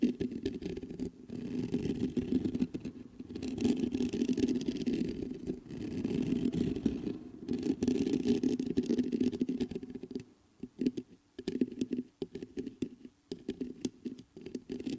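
Fingertips scratch and tap the mesh grille of a black metal USB microphone. Long passages of dense, rasping scratching with a boomy low-mid body are broken by short pauses. In the final seconds they give way to sparser, separate taps and brief scrapes.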